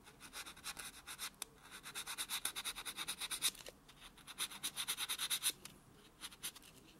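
A small white solid foam buffer block is scraped back and forth across a natural fingernail on a hand lying flat. It makes a quiet, bright, dry scratching rub in a rapid series of about thirty-five short strokes, with a high hissy tone centered near 3.8 kHz. The strokes come in two louder, faster runs with softer rubbing between them and at the end.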